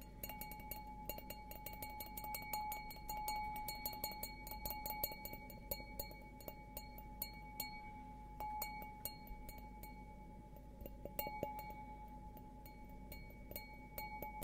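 A glass object is tapped in quick, irregular succession, each tap giving a bright, ringing clink. Clear glassy tones near 850 Hz and 2.3 kHz, plus a high ring, sustain between taps over a steady low hum.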